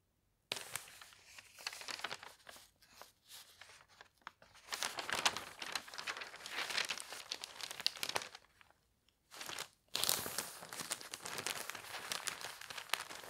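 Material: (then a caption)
Paper. A large, thin, open paper newspaper lies flat on a bedsheet while fingertips turn its pages and rub them smooth. Bright, papery crinkling and rustling come in bursts with short quiet gaps, dropping to near silence just before the final louder stretch of crinkling.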